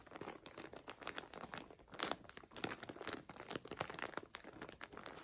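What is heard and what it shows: A full, clear plastic zip-lock bag holding colorful fabric is lifted, squeezed and crinkled with the fingers. It makes a steady stream of soft, bright crinkles and crackles with little low end and quick, dry decay, swelling into slightly louder bursts now and then.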